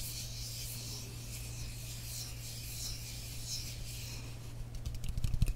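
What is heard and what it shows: Long nails scratch and rub the surface of a frosted glass mist bottle partly filled with liquid, making a soft, bright, hissy rubbing over a steady low hum. Near the end the strokes grow louder and sharper, turning into quick, distinct scratches.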